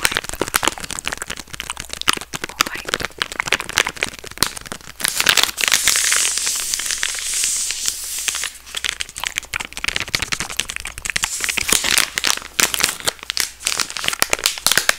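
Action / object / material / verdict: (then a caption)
scrape / soft plastic wet wipes packet / plastic / none. A soft green and purple plastic wet wipes pack is squeezed and crinkled with fingers and scratched with long red nails. Dense, bright crackling and crinkling fill the clip with rapid clicks, swelling into a steadier, louder rustling hiss in the middle before breaking back into sharp crinkles.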